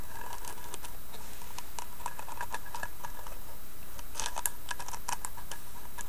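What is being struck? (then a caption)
Small carved wooden box. Long nails tap and scratch the carved front and side of a small, hollow carved wooden box. Soft, quick clicks and light scratchy taps land in irregular bursts, bright and crisp over a steady low hum. The level stays even throughout, with no single tap standing out much.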